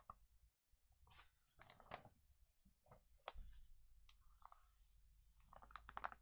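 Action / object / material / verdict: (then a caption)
scrape / glossy paper magazine pages / glossy paper / none. Hands lift and flip the pages of an open glossy paper pet magazine lying on a table, and fingertips brush across the paper. The result is quiet, soft crinkles and rustles in short bursts, with a low background hum beneath.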